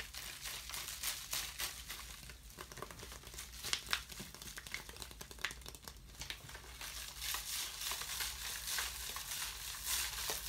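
A thin, ribbed, empty clear plastic water bottle is held out and crushed and crinkled by hand. It makes a dense, irregular stream of bright crackles and crinkling pops, with a few sharper snaps standing out, over a faint steady low hum.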